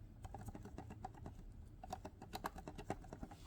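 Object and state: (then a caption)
Loose comic book rattling in grading slab. A graded comic book in a plastic grading slab is shaken, and the book rattles loosely inside its case as a quick run of short, dull clicks and taps. The book is loose rather than sitting snug, unlike another slabbed book that may be a little larger.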